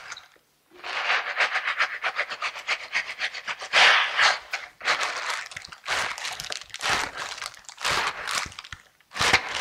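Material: Silicone.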